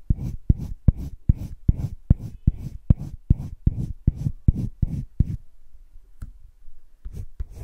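A yellow-green colored pencil scratches shading along a heart outline on flat cream drawing paper in a wire-bound spiral sketchbook. A steady run of quick, dry, low scratching strokes comes in a brisk rhythm, pauses briefly with a single faint stroke, then resumes with a few more.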